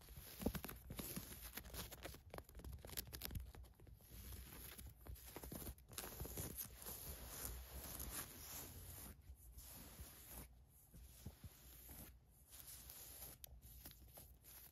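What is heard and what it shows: Long nails scratch and rub across white polyester mesh basketball shorts with a black paisley print and a black-and-white ribbed waistband, lying flat. A steady stream of quiet, dry scratching and rasping continues throughout, with brief pauses between strokes.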